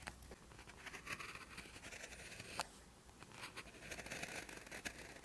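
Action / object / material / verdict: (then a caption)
scrape / ballpoint pen on a lined paper sheet over a hard surface / paper / none. An orange ballpoint pen writes short strokes of Korean characters on a lined paper sheet resting on a hard surface, its tip staying in contact with the paper. Quiet, bright scratching and scraping rises and falls with each stroke, with a sharper tick partway through.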